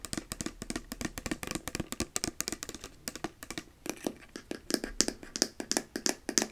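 Long painted nails tap quickly on a small, full-looking plastic bottle of bubble solution with a white cap and colourful label, held up in one hand, striking both the bottle and the cap. The result is a fast, uneven run of dry, bright clicks with almost no ring and a faint hollow plastic tone beneath them.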